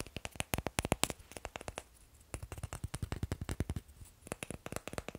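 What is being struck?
Wooden blocks.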